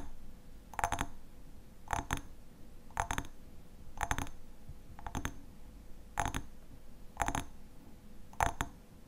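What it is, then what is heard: Glass honey jar. Fingernails tap the sides of a hexagonal glass honey jar with a black metal lid, held upright in both hands with its contents visible. Eight short bursts of quick, bright clicking taps come about once a second, each with a brief glassy ring and a faint low background hum between them.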